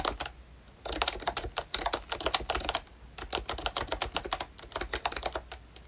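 Fingertips type on a pink ROYCHE Disney Mickey Mouse retro plastic membrane keyboard with round keycaps and a hollow body. Bursts of quick, dense key clacks come in several runs with short pauses between, each press a short, bright plastic tap with almost no ring.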